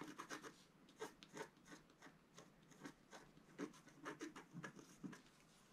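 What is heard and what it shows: A wooden stylus scratches fine lines into the coating of a flat black-coated scratch-art card. Short, dry rasping strokes come in quick bursts with brief pauses between them, each a papery scrape with a low-mid body and a faint bright edge.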